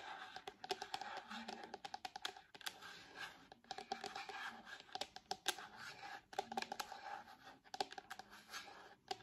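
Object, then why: Hard plastic tablet case tapped and scratched with nails. Long nails tap and scratch on a purple hard plastic case fitted to the back of an iPad. The result is a quiet, rapid run of sharp, dry clicks with brief scratchy scrapes between them, each click stopping almost instantly with no ring.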